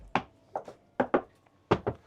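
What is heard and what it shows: A fist knocks on the solid-wood chart table of a 2012 Tartan 4700 bluewater cruising sailboat. The knocks are a series of short, dull, mid-pitched thuds, mostly in quick pairs, each dying away almost at once. They sound solid, confirming the woodwork is solid wood.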